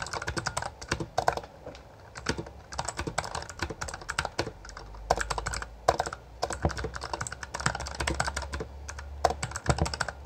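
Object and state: Plastic mechanical keyboard.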